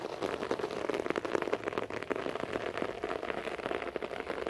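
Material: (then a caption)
Carpet fibre. Fingertips and nails, mostly of the right hand, scratch across a beige short-pile floor carpet. The result is a steady, dense crackling rasp of quick overlapping strokes, centered in the low mids with a dry, brushy texture and a fairly even level throughout.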